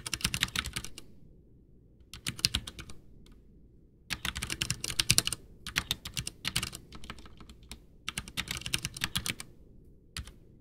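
A full-size white plastic backlit Ducky One 2 mechanical keyboard with Cherry MX Brown switches and a hollow case sits on a desk as both hands type with their fingertips, pressing and tapping the keys. Rapid, bright, clacky keystrokes come in bursts separated by short pauses, each with a low, hollow thock under the sharp clicks.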